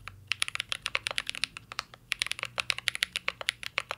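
Fingertips of both hands type on a full-size CYBERBOARD R3 mechanical keyboard with an aluminum case, plastic keycaps and Holy Panda switches. The result is a steady, quick run of sharp, bright clacks that stop short with almost no ring, over a faint low hum.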